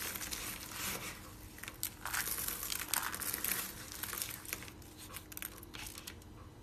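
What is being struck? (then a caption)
Soap flakes. Hands rub, scoop and squeeze a pile of pink and orange dry soap flakes on a white surface. The result is a steady run of dry, bright crinkling and crunching with sharp little bursts throughout.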